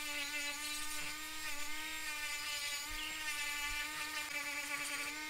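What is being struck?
Nothing is struck.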